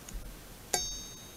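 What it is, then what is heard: Ringing steel knife blade. The steel blade of a gaucho-style knife, which has some nicks on it, is struck or flicked: a soft tap, then a sharp metallic strike. The strike rings out as a clear, high-pitched tone that fades over a fraction of a second, giving the blade a nice ring.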